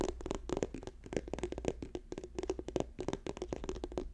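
Fingernails tap quickly on an orange plastic squeeze tube with a white cap held up in the hands. The result is a rapid run of short, dry clicks with a hollow midrange tone. A faint steady low hum sits underneath.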